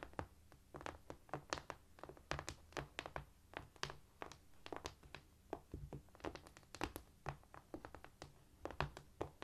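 Fingers tap and scurry quietly across a cork floor in a rapid, uneven series of soft, dull taps. Each tap dies away almost at once, with faint scratching between them over a low, steady hum.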